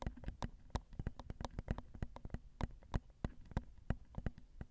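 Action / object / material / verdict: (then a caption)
tap / metal microphone capsules on a recorder, tapped with long nails / metal / none. Long acrylic nails tap gently on the crossed metal X/Y microphone capsules of a Zoom recorder, producing quick, dull, irregular taps with a heavy low thump and very short ring. The taps come at a fast, uneven pace throughout, with brief bright clicks on the stronger hits.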